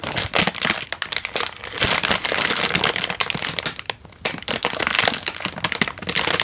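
A single Indomie chicken instant noodle packet, a crinkly plastic/foil wrapper full of a dry noodle block, is held in one hand and squeezed and crinkled with the fingers and thumb. The result is dense, bright, crackling crinkles with sharp little snaps and almost no low end. The crinkling eases briefly near the middle before resuming.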